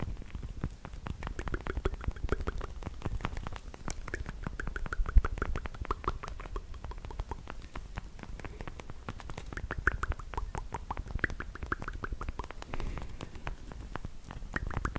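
Long black pointed plastic fake nails, worn as small hollow fingertip covers, are rapidly tapped and clicked against each other. The result is a dense, continuous patter of very short, dry clicks over a soft low rumble, with occasional louder taps standing out.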